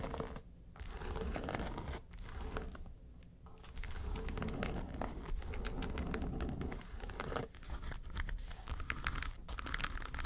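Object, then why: Flat case covered in textured faux leather. Long nails scratch the lid and front of a flat, hollow yellow case with a textured faux-leather covering. The result is a dense, continuous rasping and crinkling scratch with a low, hollow undertone, broken by a few brief pauses.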